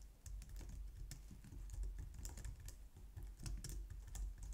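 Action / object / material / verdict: tap / plastic computer keyboard / plastic / none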